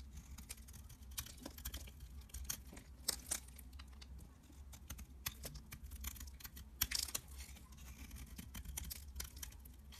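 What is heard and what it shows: A utility-knife blade scrapes and shaves flakes off a solid mint-green rectangular bar of soap held in the palm. Crisp, bright scratchy strokes and sharp clicks come in quick irregular bursts, each dying away almost instantly, over a steady low hum.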